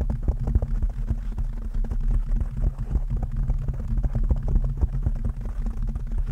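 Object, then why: Foam microphone windscreen. Long nails on both hands scratch and tap a soft, porous black foam windscreen on a microphone. The result is a dense, continuous stream of muffled, booming thumps and rustling scrapes, with nearly all the sound sitting in a deep low rumble around 60 Hz. The quick, irregular taps die away almost instantly.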